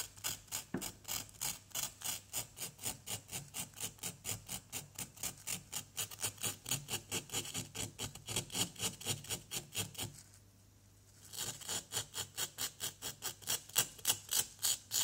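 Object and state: Plaster block being scraped.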